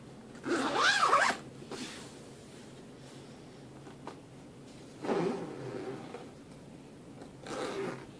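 Fingers pull the metal zipper along the top edge of a black fabric suitcase, making three separate raspy zipping runs with quiet pauses between them. The first run, near the start, is the loudest and brightest, with a whistling tone that rises and falls around 1.3 kHz; the later two are shorter and softer.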